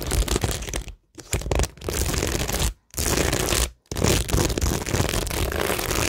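Long nails scratch and tap across a flat, textured cork tingle board covered in stick-on plastic rhinestones, gems and pearls. The result is dense, crackly scratching with quick clicky taps, broken by three brief silent pauses.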